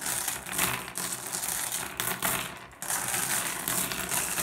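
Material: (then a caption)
Glass. Fingertips rake and shuffle a pile of small, solid, blue iridescent flat glass gems on a wooden surface. The result is a steady, bright clicking and rattling clatter. It eases briefly just before the three-second mark, then picks up again.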